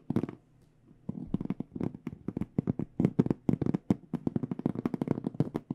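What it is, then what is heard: Aluminum-framed hard case, hollow. Long nails tap quickly on a small, hollow hard microphone case with an aluminum frame and black panels. After a short opening burst and a brief pause, about 27 dry, hollow knocks follow in a steady, uneven patter, each with a bright clicky edge that dies away almost at once.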